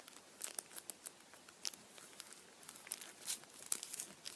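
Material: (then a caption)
Aluminium foil. The printed aluminium foil around the head of a Kinder chocolate Easter bunny is squeezed and crinkled with fingertips. This produces a quiet, bright crinkling made of rapid, irregular sharp crackles that stop almost instantly, with almost no low end.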